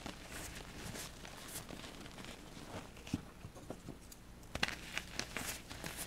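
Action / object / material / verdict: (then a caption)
scrape / pressed gym chalk pieces / chalk / none. Small solid pink and blue-white balls of reformed gym chalk are squeezed and crumbled between fingertips with short painted nails, held over a pile of chalk powder. Quiet, soft crunching and crumbling is heard throughout, with a few sharper crisp cracks breaking through near the middle and toward the end.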